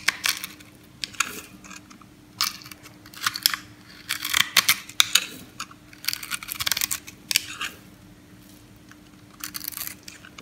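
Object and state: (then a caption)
Dry soap bar being shaved. An orange oval bar of dry solid soap, held in the palm, has its face shaved and crumbled with a metal knife blade. Bursts of dry, crisp scraping and crunching come in short clusters with quiet gaps between them, bright and high with almost no low end. A faint steady hum runs underneath.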